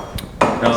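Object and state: Metal spoon, not plastic.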